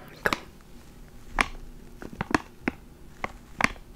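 A small clear plastic ziploc bag holding a black foam microphone windscreen is held between the fingers and crinkled and squeezed with the fingertips. Short, sharp, bright crinkles pop out at irregular intervals over a faint background hiss, each dying away almost instantly.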